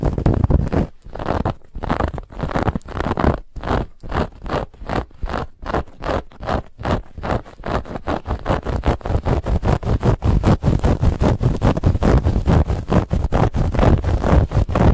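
Long nails of both hands scratch and grip a soft, stuffed white fabric pillow with a woven textured band. It makes a fast run of dry, rustling scrape strokes, heavy in the low end. The strokes come in distinct bursts at first, then grow denser and more continuous after about seven seconds.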